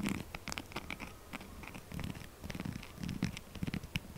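A solid pink textured soap bar is held in one hand while the nail tips of the other hand scratch fast and hard across its rough face. The result is a quick run of dry, crackly scratching bursts, with a soft low rumble under bright, gritty scraping that comes in short, uneven strokes.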